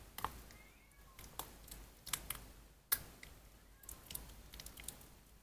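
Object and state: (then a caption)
Soaked, mushy bar soap. Pink bar soap, soaked soft and mushy, is squeezed and kneaded with both hands over an empty white plastic basin. Quiet wet squelches and sticky clicks come in irregular bursts, with sharp bright crackles standing out against a low hush.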